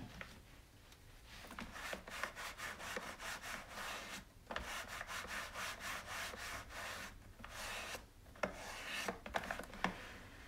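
A hand scrubs the slotted plastic drip tray of a hollow white plastic single-serve coffee maker with a cloth, rubbing back and forth over the grate. It makes a steady run of rhythmic, bright, scratchy rubbing strokes with short pauses. A few sharper clicks stand out near the end.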